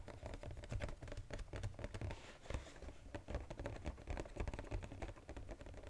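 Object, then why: Paperboard chocolate box. Fingers tap quickly on the edges and sides of a flat, textured brown Godiva paperboard chocolate box held upright. The result is a dense, steady patter of short, dull taps with a low, thumpy body, little brightness and almost no ring after each hit.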